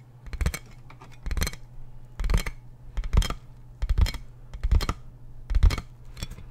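Fingertips and nails tap and scratch the hollow, air-filled tubes of a large clear plastic inflatable air column packaging bag. The sound comes in short, irregular bursts, each pairing a dull, hollow low thump with a bright, crinkly plastic crackle, over a steady low hum.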